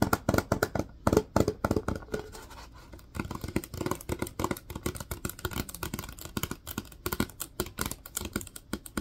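Fingertips tap and scratch the labeled body of a hollow plastic disinfecting wipes canister turned on its side. The result is a fast, dense run of short, dull, hollow taps mixed with a soft scratchy texture. The taps are loudest in the first two seconds, ease into a quieter scratching stretch, then return as steady lighter tapping.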